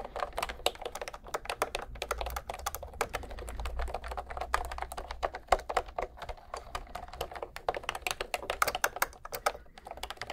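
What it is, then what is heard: Plastic round-key keyboard. Fingertips of one hand tap the round pink keys of a cream plastic retro keyboard held horizontally at microphone height. The result is a fast, steady stream of short, dry plastic clicks centered around 700 Hz with bright edges, over a faint low hum.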